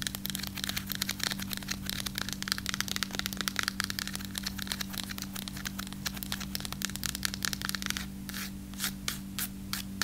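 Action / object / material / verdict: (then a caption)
scrape / baked breadstick / baked bread / none. A single long, dry baked breadstick with a solid crunchy crust is held upright and then sideways while long acrylic nails tap and scratch along it. Dense, rapid crisp ticks and scraping strokes run through the clip over a steady low hum, ending in a few slower, separate scratches.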